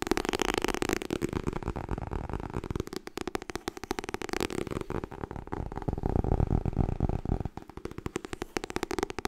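Long nails tap rapidly on the edge and cover of a white softcover *Getting Things Done* paperback made of solid paper. The result is a dense, fast stream of dry, low-heavy taps centred around 200 Hz, with almost no ring and little high content, in bursts that speed up and pause throughout.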